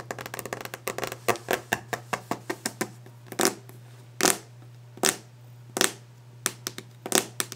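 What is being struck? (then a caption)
Varnished wooden desk top. Long nail tips tap quickly on a solid varnished wooden desk top, producing a run of short, dry, bright clicks with quick decay. The taps come in a fast irregular flurry at first, then slow to scattered, louder knocks and scrapes. A steady low hum sits underneath throughout.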